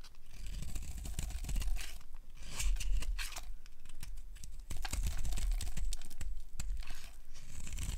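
A metal utility blade carves a solid yellow bar of dry soap held in a hand with long painted nails, scraping off crumbly shavings. Steady crisp, crunchy scraping strokes run throughout, with brief dips around 2 and 4.7 seconds, over a low background hum.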